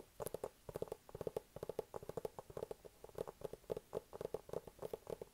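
A hollow, medium-sized white cardboard iPad mini box is tapped with fingertips and nails on its top and sides. Quick bursts of about 32 short, dry taps each carry a hollow tone around 440 Hz that dies away almost at once.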